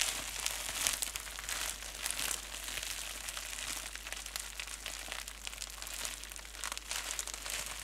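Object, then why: Plastic bubble wrap. A small crumpled piece of clear plastic bubble wrap is squeezed and rubbed between fingertips and nails. The result is a steady, bright, dense crinkling with many quick crackles and no low end.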